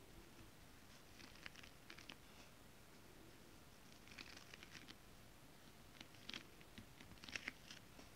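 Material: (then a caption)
Foil fabric. Long acrylic nails tap and scratch a flat holographic foil scale-pattern stretch fabric (mermaid scale fabric), with some fingertip rubbing. Quiet, short, bright clicks and crinkly scratches come in loose clusters over a low, soft background hiss. The taps stop dead with no ring.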